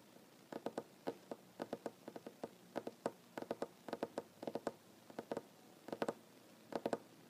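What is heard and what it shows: Fingers tap on a wooden table, mostly with one hand and with no talking. The taps come in quick, irregular bursts and clusters of soft, dry knocks. Each has a brief mid-pitched tone and almost no ring against a quiet background.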